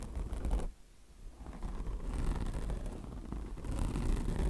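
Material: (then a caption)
Mesh, microfiber. Long nails scratch the mesh top of a mesh-covered microfiber car wash sponge resting on marble. The result is a steady, rough scratching rasp with a dense low rumble. It fades briefly near the start, then keeps going.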